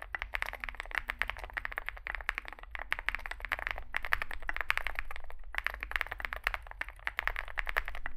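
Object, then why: Mechanical keyboard with metal case and plastic keycaps. A Zoom65 65% mechanical keyboard with a dark, likely aluminum case, white and grey SA-profile plastic keycaps and lubed switches sits on a desk mat while two hands type on it with their fingertips. Rapid, crisp key taps clack in quick bursts, each short and dry with a bright midrange click. A steady low hum runs underneath.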